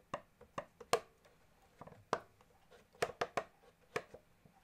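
Fingertips and nails tap across the top of the casing and the keyboard side of a small, hollow blue pearloid plastic accordion with plastic keys; the bellows are not played. The result is an irregular series of short, dry, hollow knocks with a mid-range ring around 480 Hz, mixing sharper loud taps with softer ones. Each tap dies away almost at once.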